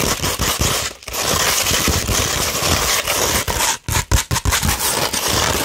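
Long red nails scratch across a flat-held sheet of 240 grit sandpaper, making a dense, gritty, broadband rasp with bright high hiss and rough low rumble. The scratching runs nearly continuously, with a brief gap around one second and a cluster of short separated strokes near the end.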